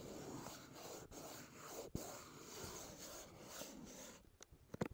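Fingertips rub the front face of a hollow, dark teal CK Free cardboard perfume box resting on a wooden table, producing a steady, soft scratchy swish for about four seconds with a brief sharp tap partway through. The rubbing then stops and a few quick, dry taps on the hollow box close the clip.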